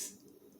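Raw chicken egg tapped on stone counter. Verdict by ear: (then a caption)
Cracked. A raw chicken egg is tapped once on a granite counter, making a single sharp, bright click that fades quickly into a faint, low hum. The shell cracks from the tap.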